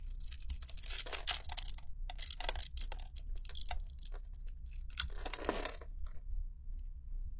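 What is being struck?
Solid bar of soap scraped with a blade.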